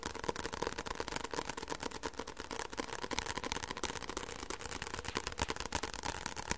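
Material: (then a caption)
Paper. Fingertips tap quickly and scratch lightly on the cover of a white softcover paperback book held close to the microphone. The result is a steady stream of crisp, dry taps mixed with soft scratching.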